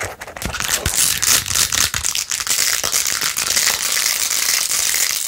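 Long acrylic nails scratch rapidly across the rows of pink plastic pearl beads glued onto a handheld plastic phone case. The result is a dense, continuous stream of bright, crisp clicking and rasping with almost no low end, steady in loudness after a brief softer start.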